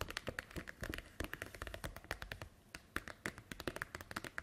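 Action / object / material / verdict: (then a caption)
tap / plastic document folder on a table / plastic / none. Hands lift, flex and crinkle an empty-looking, hollow, translucent green plastic snap-button document folder, then long white nails tap on it as it lies on a wooden table. The result is a quick, uneven run of many sharp, dry plastic clicks and taps with a brief bright ring and almost no decay, against a quiet crinkling background.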